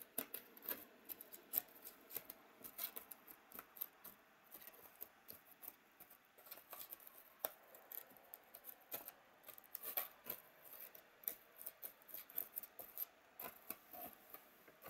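A thin pointed stick scratches and pokes at the cells of a white, hollow, molded polystyrene foam packaging tray. The result is a quiet run of dry, squeaky scrapes and sharp little ticks with a bright, high edge and almost no low end. Each tick dies away almost instantly.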